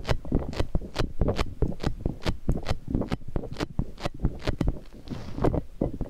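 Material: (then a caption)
Rubber. Fingers squeeze a large, hollow, squishy green soft rubber puffer ball with flexible spikes and rub it against the microphone. The result is a dense, irregular run of short, muffled bumps and squishy rubbing scrapes, mostly low and thumpy with brief bright crackles.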